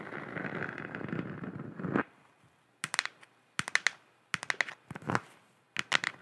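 Long nails scratch a hollow, galaxy-printed plastic moon lamp sphere for about two seconds, making a steady, dry rasping. Then they tap it in quick clusters of sharp, bright clicks, separated by short silences, with a light hollow plastic tone and almost no ring.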